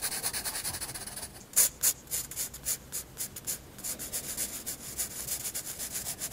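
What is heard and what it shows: A graphite pencil tip draws scratching hatching strokes across a white paper sketchbook page. Quick, bright, papery scratches repeat at a steady pace of about three to four strokes per second, with a few louder strokes standing out near the middle. The sound is almost all high hiss with very little low end.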